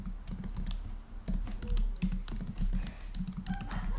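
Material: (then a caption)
Plastic. Fingertips type fast on the black plastic keys of a rose-gold laptop, heard up close. A dense, rapid stream of soft clicky taps with a low, thumpy body runs over a steady faint hiss and low hum.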